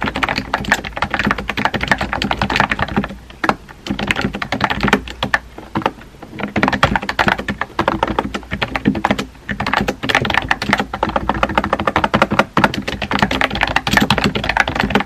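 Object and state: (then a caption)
Plastic keyboard being typed on. Fingertips type on a compact pink plastic keyboard with round white keycaps, producing a rapid, dense stream of short, dry clicking taps. The typing runs in bursts with brief pauses, and each keystroke dies away almost instantly.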